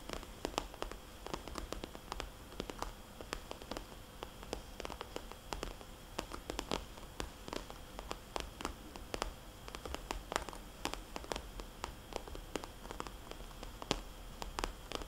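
Long dark nails tap and scratch the surface of a small, glossy red polka-dot vinyl cosmetics bag that sounds soft and hollow. Quick, dry clicks with very short decay come in irregular bursts over a faint, steady hiss. The taps stay quiet throughout, with occasional slightly sharper hits.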